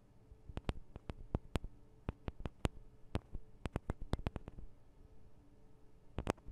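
Long acrylic nails of both hands tap the small hollow metal microphone capsules of a Tascam DR-40 recorder, giving about 21 sharp, bright clicks in irregular bursts. Each tap dies away almost instantly over a quiet, low background rumble.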